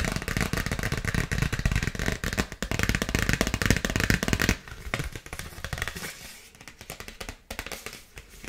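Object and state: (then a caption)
Paper gift bag. Long nails tap and scratch rapidly across a dark polka-dot paper gift bag with a ribbon, making a dense, crinkly patter with papery rustle through the highs. For about the first four and a half seconds the scratching is steady and loud, then it drops to quieter, sparser taps and scrapes until the end.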